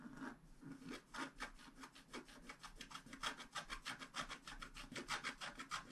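A flat black-coated scratch-art card lies on a table, held down by one hand, and is scraped with the pointed tip of a wooden stylus. Quick, uneven strokes repeat about three times per second, each a bright, dry, raspy scratch.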